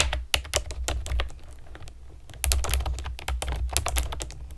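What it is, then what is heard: Plastic keyboard with round keycaps. Long nails and fingertips type on a pastel plastic keyboard with round keycaps, producing a quick, uneven run of sharp, bright clicks and clacks. Each keystroke is short and dry over a steady low hum, with a louder burst of typing in the second half.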